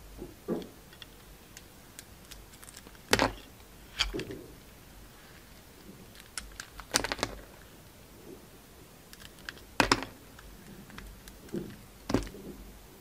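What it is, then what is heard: Bar soap being scraped and cut. A utility knife blade peels the outer layer off a solid rectangular Dalan bar soap, brown-coated with a pink and white swirl inside. Short, dry scraping and cutting strokes come in separate bursts with quiet pauses between them, each one a crisp, bright scratch with a faint low thud that ends almost instantly.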